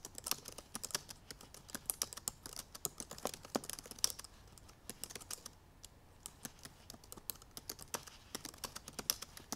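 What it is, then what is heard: Laptop keyboard with plastic keys. Long purple nails and fingertips type quickly on the black plastic keys of a silver aluminum MacBook Pro laptop keyboard. A rapid, uneven stream of short, bright, clicky taps briefly slows to a softer lull near the middle before the fast typing picks back up.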